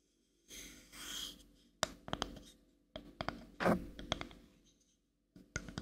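Long manicured nails scratch and tap the back of a small, light, solid-wood paddle-shaped brush held in one hand close to the mic. Soft brushing swishes lead into sharp, dry taps with almost no ring, mixed with more scratching and a few closing taps.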